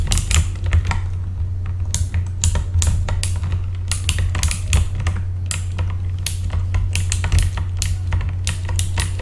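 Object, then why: Mechanical keyboard with plastic keycaps. Both hands tap the keys of a full-size backlit mechanical keyboard with plastic keycaps, using their fingertips. The result is a steady stream of sharp, bright clicks that start and stop in irregular bursts. Beneath them runs a constant low hum.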